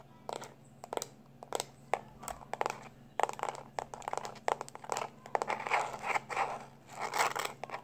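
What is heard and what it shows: Fingertips and short nails tap quickly on the flat, labeled back of a small black plastic external hard drive held in both hands. The taps come as dry, clicky bursts that thicken into rapid, crackly runs, with no ring after each hit, over a faint steady low hum.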